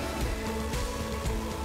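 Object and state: Nothing is struck.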